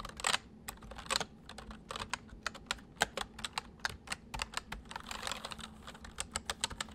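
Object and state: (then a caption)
Plastic mechanical keyboard being typed on. Both hands type quickly with their fingertips on a full-size white plastic mechanical keyboard with white keycaps resting on a wooden desk. Rapid, bright, sharp key clicks follow one another in quick, uneven bursts, each dying away almost at once, over a faint steady low hum.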